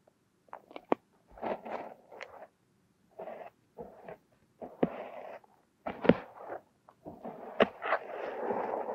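Two thin metal hooks dig and scrape through a mound of purple, crumbly kinetic sand resting over a silicone nose. The result is a series of soft, gritty scraping and crumbling bursts, broken by a few sharp, bright ticks where the metal catches. The clip ends in a longer, continuous rustle of sand.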